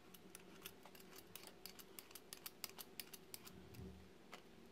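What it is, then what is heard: Bar soap scraped with a roller cutter. A solid yellow and white striped bar of soap, held in hand, is scraped repeatedly with a metal roller cutter tool as shavings fall away. A quick series of short, crisp, bright scratchy clicks sounds over a faint low hum, each one dying away almost instantly.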